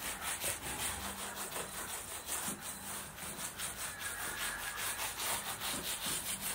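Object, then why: Suede boot upper scrubbed with a bristle brush. A round, wooden-backed bristle brush scrubs the side of a worn black suede boot with a patent toe. It makes a steady, rhythmic, bright scratchy rubbing of back-and-forth strokes at roughly two to three per second. The brushing runs continuously throughout with no pauses.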